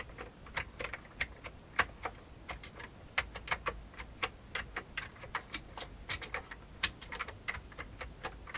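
Fingertips type rapidly on an old beige full-size plastic computer keyboard with hollow keycaps. About thirty quick, bright, hollow clicks sound one after another, each dying away almost instantly over a faint low background hum.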